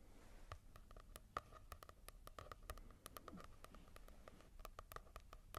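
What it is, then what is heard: Matte-covered paperback book. Fingertips tap and scratch on a paperback manga volume with a matte cover. The clip is a quiet, irregular run of short, dry taps, each with a papery ring around 1.2 kHz and soft scratchy texture between them. There is a low background rumble underneath.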